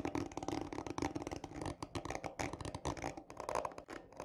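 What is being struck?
Textured cardboard tube.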